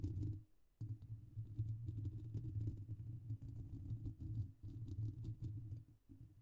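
Fingertips and short nails of both hands scratch and press on the hollow, rounded metal mesh grille of a silver microphone throughout. This produces dense, scratchy clicking over a deep, boomy low thumping that fills the clip, with a brief quiet gap just after the start.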